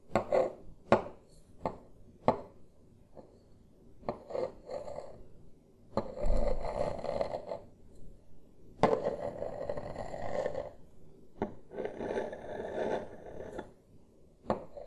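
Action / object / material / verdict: scrape / wooden table top / wood / none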